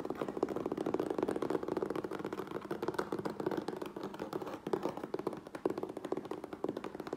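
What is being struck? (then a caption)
Closed corrugated cardboard box. Fingertips and nails tap rapidly on the sides and top edge of a closed, hollow medium USPS Priority Mail corrugated cardboard box resting on a wooden table. The quick, dry taps run together in a steady, dense clatter with a hollow, mid-pitched tone and almost no ring.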